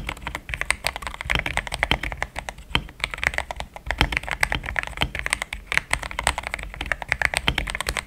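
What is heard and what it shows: Fast fingertip typing with both hands on a compact pink-white mechanical keyboard with thick plastic XDA keycaps, a polycarbonate plate and linear switches, resting on a desk mat. It makes a steady, rapid stream of short, bright clacks with a soft low thud under each press. Each keystroke dies away almost instantly.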